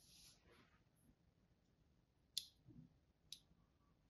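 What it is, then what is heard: Striped bar soap being scored. A solid green-and-white striped bar of soap, held in the hand, has crosshatch lines scored into its surface with the tip of a thin blade. After a soft, bright scraping hiss at the start, three sharp, crisp scratches stand out, each a very short, high click with almost no ring, over quiet background.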